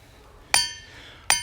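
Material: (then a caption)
Rock. A hammer strikes a big, heavily worn boulder, chosen because it was expected to ring well, twice. Each blow gives a sharp metallic clink that blooms into a bright, bell-like ring of stacked high tones that fade over a fraction of a second. The rock rings clearly, like a bell.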